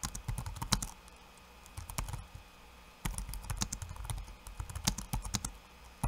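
Fingertips of one hand type quickly on a backlit laptop keyboard with plastic keycaps. Rapid bursts of short, dry clicks with soft low thumps and bright tick edges are broken by two brief pauses.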